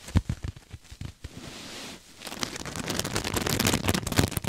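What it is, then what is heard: Sequin-covered fabric pillow. A soft, stuffed cream sequin throw pillow, held upright behind the mic, is scratched with long nails and fingertips. First come several scattered low thumps and clicks, then a brief steady hiss. After that comes a dense, bright, crackling scratch of sequins that grows louder toward the end.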